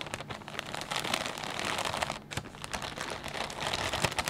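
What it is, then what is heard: Plastic bag of potato chips. Fingertips press and squeeze a clear plastic bag full of potato chips, making a steady stream of dense, bright crinkles and crackles. The crisp rustling rises and falls in bursts over a few seconds, with little low end and very short decay.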